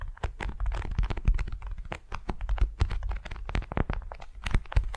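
Long nails scratch and slide across a flat, patterned beeswax-coated cotton wrap laid over a furry mat. The result is a dense, rapid run of short crinkly scrapes and taps with a heavy low thump under them, each dying away almost at once.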